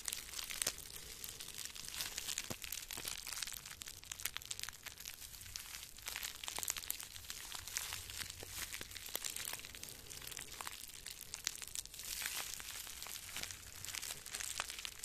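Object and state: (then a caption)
Plastic bubble wrap crinkled. Small wads of clear plastic bubble wrap are held in the hands near the microphone and crumpled and crinkled with the fingertips. A steady, dense stream of bright, crisp crackles and sharp little snaps continues throughout, with almost no low end. The result is a close, high, rustling crinkle texture.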